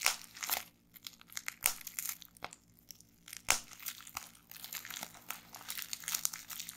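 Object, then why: Plastic bubble wrap. Fingertips with long nails pinch and pop individual bubbles on crumpled clear plastic bubble wrap resting on a table. Bright, crisp crinkling runs throughout, broken by sharp, short pops scattered across the clip.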